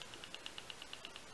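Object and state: Slightly loose battery rattling in a penlight.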